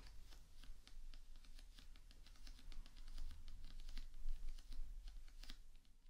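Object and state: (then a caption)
Paperback book cover. Long dark-painted nails tap rapidly on the glossy card front cover of a paperback copy of "The Fragrant Pharmacy," held upright, solid and closed. Quick, short, bright clicks patter unevenly over a low steady rumble, sounding like typing on a keyboard.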